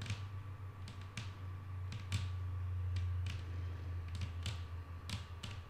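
Long painted nails on both hands tap a solid, flat wooden tabletop in an uneven patter of soft, bright clicks. A steady low hum and a faint constant tone run underneath the taps throughout.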